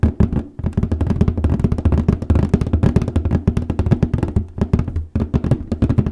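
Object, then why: Printed cardboard box lid. Fingernails tap and scratch the printed lid of a large printed cardboard paper case box resting on a lap. Quick, hollow, low-pitched taps follow one another in a dense, irregular stream, with brief pauses near the start and near the end. Each tap is dry and dies away almost at once.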